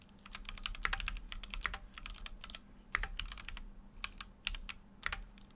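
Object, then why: Mechanical keyboard with metal case and plastic keycaps. Fingertips type continuously on a full-size Keychron Q6 mechanical keyboard with an aluminum case and plastic keycaps. Rapid, bright, clacky keystrokes are heard, each dying away almost instantly. A few heavier strokes stand out over a faint, steady low hum.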